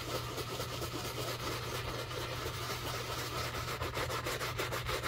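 A wooden-handled bristle brush scrubs the upper of a black leather shoe covered in soap foam, making a continuous wet rubbing sound. The brushy strokes repeat at about two per second, slightly uneven, with bright bristle hiss over a steady low hum.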